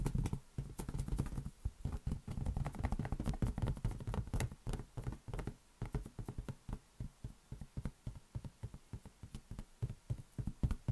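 A large, hollow, air-filled green latex rubber balloon is held in one hand and tapped with the fingertips of the other. Rapid, dull, low thumps patter in a dense flurry at first, then thin out into quicker, more separated taps with short, dry decays.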